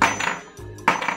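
The metal projector ball from an ISUN MB50 mini projector headlight is dropped to show it is metal rather than plastic. It lands with bright, ringing clinks like a dropped coin, with a second clattering impact about a second later.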